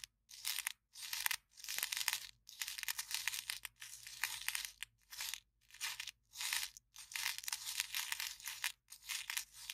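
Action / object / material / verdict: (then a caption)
scrape / empty paper cup / paper / none. Long nails scratch and squeeze the wall of an empty, small, hollow white printed paper cup held upright. The result is bright, crinkling, tearing-like scratches in repeated bursts separated by brief silences, with almost no low end.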